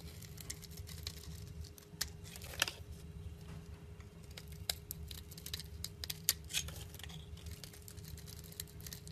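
A metal cutter blade slices and scrapes flakes off the end of a solid olive-green olive oil soap bar held in hand. Soft, crisp scraping and crumbly crackles mix with brighter sharp clicks as the blade bites, over a steady low hum and a faint constant tone.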